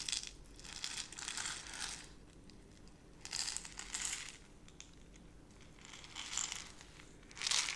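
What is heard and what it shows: A small clear plastic jar, partly filled with brown dry granules, is held in both hands with long nails and squeezed, tilted and shaken so the granules shift and crunch. The result is bright, high crinkly crunching in several bursts separated by quieter gaps, with almost no low end.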